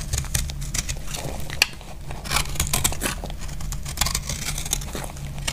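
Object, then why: Bar of soap. A utility blade scrapes and cuts crumbly pieces off a solid, dry pink soap bar. It makes a run of crisp, dry crackling scrapes with sharp bright ticks over a steady low hum. The pieces flake and crumble away.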